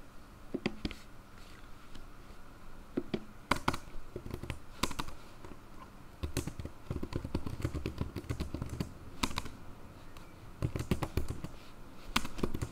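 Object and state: Plastic laptop keyboard being typed on.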